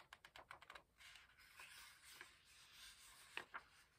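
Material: Paper.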